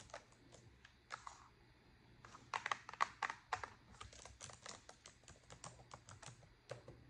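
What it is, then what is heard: Plastic laptop keyboard being typed on. Long pointed acrylic nails type fast on a black plastic laptop keyboard, giving about 27 quick, bright plastic key clicks. The clicks come at an uneven pace and die away instantly over a low, quiet hum, growing louder and denser in the middle of the clip.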